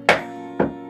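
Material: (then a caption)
Wood. Knocks on the exposed wooden rough-opening framing of a window during a window replacement confirm the material is wood. Two sharp, hollow, woody knocks with a mid-pitched tone ring briefly, followed by a softer third knock at the very end.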